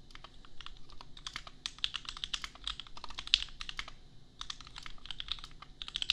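Bare fingertips of both hands type on a $250 custom 60% mechanical keyboard with Gateron Milky Yellow switches and red and white plastic keycaps, resting on an anime desk mat. Quick, uneven bursts of bright, clacky plastic keystrokes stop dead with no ring, over a faint low rumble, with a short pause in the middle.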